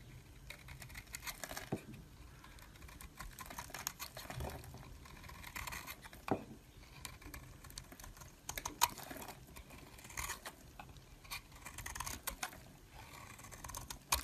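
A metal blade scrapes and shaves flakes off a solid oval bar of purple-and-white swirled soap held in a hand with long purple nails. The sound is a quiet, steady run of dry, bright scratching and crisp crackles, with sharp little clicks popping out now and then. Each scrape ends almost instantly with no ring.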